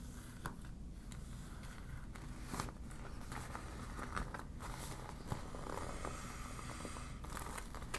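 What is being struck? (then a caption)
Deflated PVC vinyl beach ball. A deflated yellow PVC vinyl beach ball with warning print is crumpled and scratched by long black nails. The plastic gives soft crinkling and scratching over a low, steady rumble, with a few brief sharper clicks standing out.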